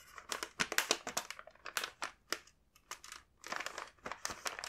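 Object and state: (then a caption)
Plastic snack bag crinkling. A large, full, printed plastic bag of kinako mochi rice crackers is handled and rubbed with the fingertips. It gives off bright, crisp crinkling in quick bursts, with brief quiet gaps and almost no low end.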